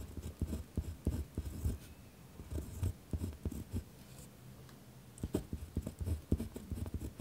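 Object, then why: Pen on a lined paper sheet over a wooden desk. A pen is written across a single sheet of lined notebook paper lying on a wooden desk, its tip scratching steadily on the paper. The strokes come as short, dull, low-heavy bursts with brief quieter pauses between groups of strokes.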